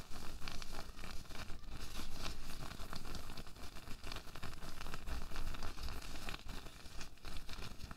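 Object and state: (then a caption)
Latex glove being crumpled and rubbed. A single loose, thin pink latex glove, empty and hollow, is held in both hands above a white table while fingertips stretch, crumple and rub the rubber. A continuous stream of soft squeaky rustles and crinkles is heard, mostly low in pitch, with quick, short-lived crackles throughout.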